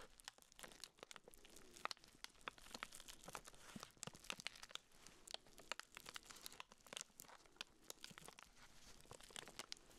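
Black-gloved fingertips squeeze and rub the clear, crinkly plastic wrap sealed around a small round pink urinal deodorizer cake. A steady stream of sharp, bright crinkles and crackles fills the clip, with little low end and quick, dry snaps that stop almost instantly.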